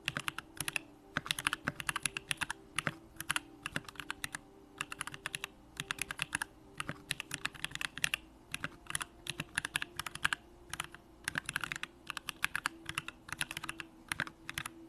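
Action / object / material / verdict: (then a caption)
tap / mechanical keyboard with aluminium case and plastic keycaps / aluminium, plastic / none. A 65% Bakeneko65 mechanical keyboard with an aluminum hollow case, Durock lavender switches and pink plastic keycaps is typed on continuously with the fingertips. Its short, bright, clacky key presses come in rapid bursts with brief pauses, over a faint low hum.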